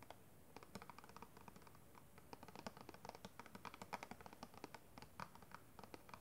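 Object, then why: Clear plastic packaging box. Long red-painted nails tap and scratch the flat sides of a small, hollow, clear plastic packaging box holding a pink kabuki makeup brush. The result is a quiet, rapid, irregular stream of dry, clicky ticks and scrapes with no ring, sounding much like light typing.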